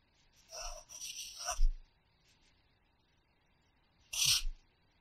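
A red wooden pencil scratches across the page of an open paper practice notebook lying flat, writing in the grid boxes. A longer stretch of dry, raspy scratching with bright hiss and soft low thumps of the pencil tip is followed, after a pause of near silence, by a short, sharper scratch.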